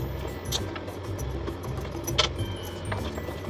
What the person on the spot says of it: कॅडीचा कसा खणखणीत आवाज येतोय